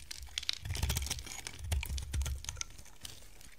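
A hand-sized, solid, square white bar of dry soap is held in the hand and shaved and carved with a box-cutter blade. Crisp, crunchy scraping and bright ticking cuts come in quick bursts over a low, soft rumble. Each cut stops short with no ring.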